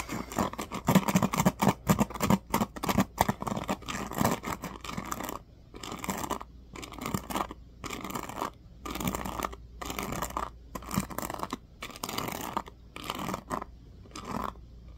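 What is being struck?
Plastic paddle hairbrush pins.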